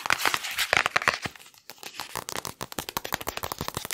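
Fingertips rapidly trace and scratch the padded foam cover of a hardcover picture book, which is held upright and later turned. Quick, bright, crinkly scratches come in a dense stream, break off for a brief hush around the middle, then resume as fast, evenly spaced strokes.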